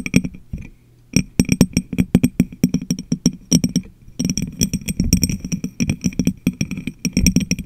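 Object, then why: Glass jar. Long manicured nails tap and scratch an empty, hollow, medium-sized clear glass jar that covers the microphone. Dozens of quick, dry clicks each carry a short hollow, low thump with a faint bright glassy edge and almost no ring. The taps come in bursts separated by brief pauses, and the last stretch grows denser, with scratching mixed in.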